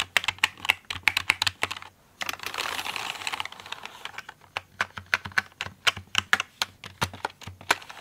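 Fingertips and nails tap and type on the keycaps of a full-size pink plastic mechanical computer keyboard, producing a steady run of sharp, bright clicks with almost no ring or low end. Around the two-second mark the tapping stops briefly, then gives way to a stretch of soft, steady bright hiss before the quick clicking resumes to the end.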